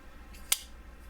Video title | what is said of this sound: Monthly Knife Club Onyx - October 2021 - Cold Steel Voyager & CRKT Xan - Unboxing & Review | that is a good sound though wait listen to that listen it's a good solid sound